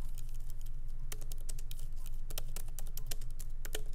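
Fingertips of both hands lightly type on a MacBook Pro laptop keyboard with black plastic keycaps in an aluminum body, resting on a wooden desk. Quick, irregular, bright key clicks patter over a steady low hum throughout.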